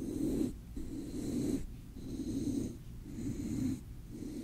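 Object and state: Nothing is struck.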